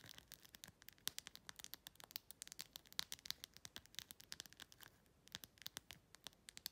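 Long pink-red nails quickly tap and scratch the large acrylic rhinestones covering a clear plastic phone case. The result is a rapid stream of sharp, bright, high clicks that stop dead, with almost no low end and a faint scratchy rustle between taps. The tapping eases briefly around the five-second mark.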